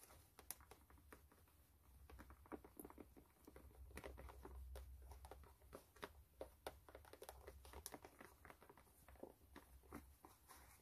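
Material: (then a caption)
Canvas. Long nails scratch the canvas upper of a white canvas low-top sneaker, held sideways and hollow and empty, near the eyelets and the rubber foxing. It is heard as quiet, dense, crisp scratching and tapping clicks, irregular and short with almost no ring, over a steady low hum.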